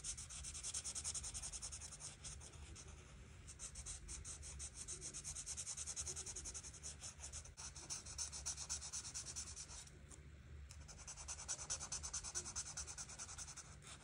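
An art marker is rubbed in quick, repeated strokes across a flat paper coloring book page to color the flowers red. The result is a steady, soft, bright scratchy rubbing with a faint low hum underneath, and brief pauses between passes.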